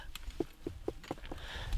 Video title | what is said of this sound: I Climbed Portugal's Highest Volcano Solo (Mount Pico) | it's Hollow it's a lava tunnel